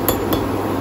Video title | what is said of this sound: కరకరలాడే కారం చక్రాలు(మురుకులు)😋- Murukulu Recipe in Telugu- Crispy Janthikalu - Traditional Snack👌 | ఇలా టక్ టక్ సౌండ్ వస్తుంది చూడండి ఇంకా అయిపోయినట్టే